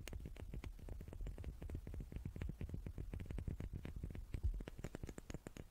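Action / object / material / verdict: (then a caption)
tap / small wooden cubes / wood / none. Small wooden cubes are tapped with the fingers in a quick, steady patter of short, dull knocks. Each tap is quiet and muffled, with most of its weight low and little ring, and a few brighter clicks come through near the end.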